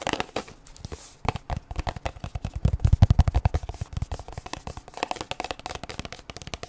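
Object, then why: Plastic sunscreen tube. A plastic sunscreen tube, held upright and then sideways, is tapped and scratched with long nails. It makes a rapid, uneven run of short, dry taps with a deep, hollow low thump and scratchy crackle between them. The taps grow louder in the middle before easing off.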